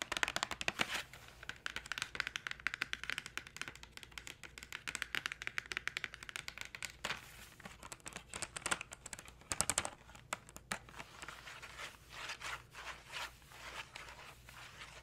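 Long decorated nails tap and scratch the front panel of a hand-sized, hollow Crayola Markers box made of thin printed cardboard and holding markers, held over a wooden tray. Rapid, dry, bright clicking taps come in quick bursts with almost no ring, easing after about ten seconds into softer, papery scratching and lighter taps.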